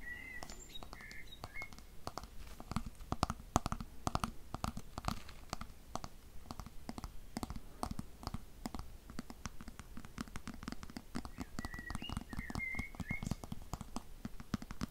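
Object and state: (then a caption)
Plastic hairbrush. Fingernails tap rapidly on the glossy black plastic back and handle of a black plastic hairbrush, making a steady stream of short, dry clicks with a low thud in them. Faint chirping tones come through at the start and again near the end.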